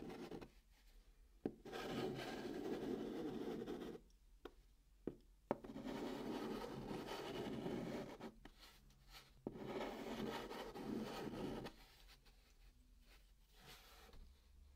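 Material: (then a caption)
Cardboard. A hand writes numbers with a white chalk stick on the flat top of a brown cardboard box. Dry, scratchy chalk strokes come in long bursts between quiet pauses, with a few sharp taps as the chalk meets the cardboard.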